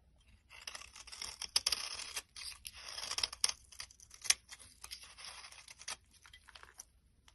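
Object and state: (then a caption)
Soap bar being shaved. A solid brown bar of soap held in the hand is scraped and shaved with a metal blade. Dry, bright, papery scraping strokes come in uneven bursts with brief sharp peaks, almost all high-pitched with hardly any low end, and stop quickly between strokes.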